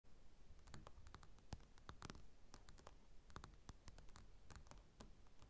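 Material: Paper.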